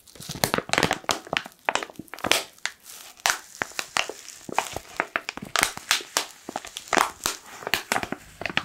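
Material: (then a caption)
Foil, plastic. Fingers crinkle and squeeze a black, foil-lined plastic coffee pouch held close to the microphone. A dense run of sharp, bright crinkles and crackles comes in rapid bursts, with almost no low end. Each crackle cuts off quickly.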